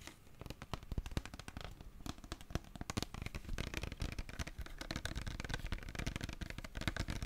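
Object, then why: Plastic gel bottle tapped and scratched with fingernails. Long fingernails tap and scratch a tall, translucent green plastic aloe vera gel bottle, hollow and filled with gel. Quick, dry clicks and taps run together with a crackly scratching texture, each with a dull low thump and almost no ring.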